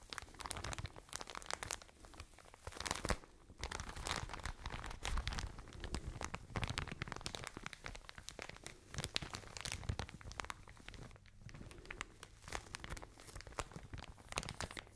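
A soft white and blue plastic packaging bag full of cotton pads is crinkled and scratched with long nails close to the mic. Dense, rapid crackles and scratchy rustles run continuously, bright in the highs with a full low rumble from the handling. There are brief softer lulls around the middle and near the end.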